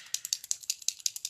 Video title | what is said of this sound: Maquillage cuivré simple et rapide | on le secoue vous entendez la bille à l'intérieur